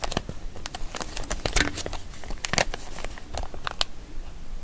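A small, empty, printed plastic zip-lock bag with a grey cat picture is held in both hands while fingertips and long nails crinkle and rub it and open and close the zip seal. Quick, dense crackles and sharp bright clicks pile up in an irregular stream over a soft low rumble.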